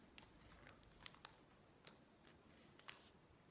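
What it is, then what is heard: Glossy magazine pages being rubbed and turned. A woman's fingertips and long nails stroke and squeeze the pages of a thick, open, glossy-paper interior design magazine lying on a wooden table, then turn them. A quiet, steady papery rubbing is broken by several sharp, bright crinkles and ticks that stop almost instantly.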